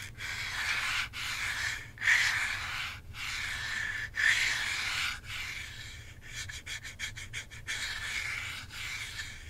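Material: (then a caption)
Plastic. Long fingernails rub and scratch across the top surface of a hand-sized hollow plastic Nintendo Switch Joy-Con controller in a grip with red and blue sides, while the other hand holds it. Long, bright, airy scraping strokes sweep back and forth with brief pauses, then give way to a run of quick, short scratches before the slower rubbing returns.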